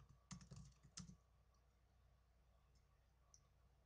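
Fingertips with blue nails type on the plastic keys of a small black plastic netbook. A quick cluster of soft, clicky keystrokes, each with a dull low thump and a bright tick, is followed by near silence and one faint late tap.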